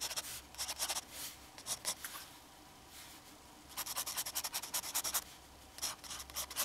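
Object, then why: Metal fountain pen nib on drawing paper. The metal nib of a black fountain pen scratches across a flat sheet of drawing paper bearing an ink cartoon as it draws strokes. Quick, bright, scratchy bursts come in clusters, with a quiet pause in the middle before the strokes resume.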